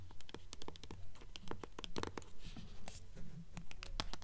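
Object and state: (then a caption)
Hardcover book with paper dust jacket. Long acrylic nails scratch and tap the front cover of a mid-size hardcover book, "Fairies," with a pale glossy paper dust jacket, held upright in both hands. Quick, dry, fairly regular taps mix with brief papery scratches, each dying away at once with a soft low thud beneath.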